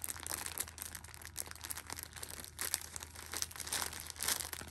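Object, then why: Tissue pack in plastic film. A Shopkins pocket tissue six-pack in clear plastic film is held and pressed with fingertips and nails, crinkling the wrap. Bright, dense crackling rises and falls in bursts over a steady low hum, with no ring after each crinkle.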